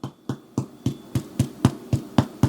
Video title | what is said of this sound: Amazing Dill Pickle Bread ~ No Yeast or Kneading | when you tap on it it should sound slightly Hollow